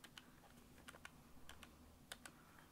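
A small, flat, pale pink-beige cardboard box, held in both hands, is tapped with the fingertips. Eight soft, dry clicks sound in loose pairs, each short and crisp with a faint tone around 1.5 kHz. The quiet taps sit over a low, steady hum.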